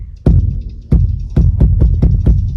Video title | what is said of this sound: Plan Your Rainwater Harvesting System (Webinar) | you can tell right away by the sound that hollow sound tells you the tank is empty